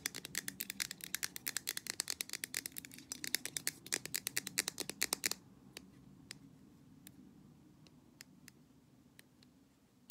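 Long black nails tap rapidly on the side of a blue and white printed aluminum drink can held in one hand, making bright, dry clicks in a dense, uneven flurry. After about five seconds, the tapping thins to a few scattered, sharp taps over a quiet background hum.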